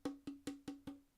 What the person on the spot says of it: it's going to bounce around inside of this chamber, inside of a sound box, um, inside the body. So, eventually it leaves through this hole and you get sound